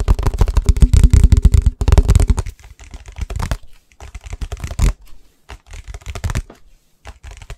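Fast, aggressive tapping on an energy drink bottle. A dense flurry of quick, dry taps fills the first two and a half seconds, then breaks into sparser bursts separated by short silences. Each tap is short and thuddy, weighted toward the low end, with little ring.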